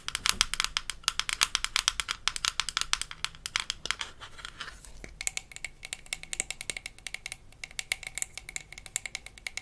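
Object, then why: Small plastic toy bottle. Long nails tap and scratch the sides and cap of a small, hollow, blue plastic toy mouthwash bottle from a Melissa and Doug Super Smile Dentist Kit. Rapid, dry, bright clicks come in dense bursts with almost no ring, broken by a softer scratchy stretch in the middle. The tapping then resumes, light and hollow.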